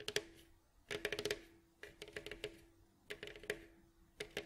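Fingertips and nails scratch and rub over the hollow, glossy, striped wooden bowl back of a mandolin, across its varnished staves. Four bursts of quick, bright clicking taps and scratches come in uneven clusters, each fading into a brief papery rustle over a faint steady tone.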